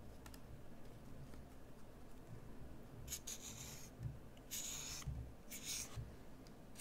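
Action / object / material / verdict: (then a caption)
scrape / bar of soap / soap / none. A metal carving tool scrapes and shaves a solid, hand-sized green bar of soap. Three bright, crisp shaving strokes stand out in the second half over a quiet, low background rumble, with faint lighter scratches before them.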